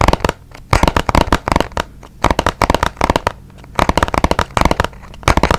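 A small, hollow, white and blue printed cardboard box is held beside the mic and tapped with fingertips and nails. Quick bursts of dry, hollow taps with a soft low thump come in clusters, separated by short quiet pauses. Each tap dies away almost instantly.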